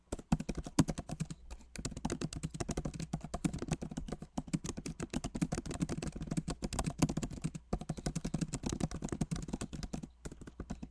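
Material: Plastic.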